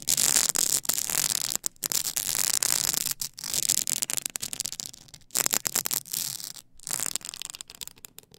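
Long acrylic nails rub and scratch the ridged side of a tall stack of blank polycarbonate CD-R discs on a plastic spindle. The result is a bright, hissy scraping with almost no low end, heard as quick rasping strokes broken by short silent pauses.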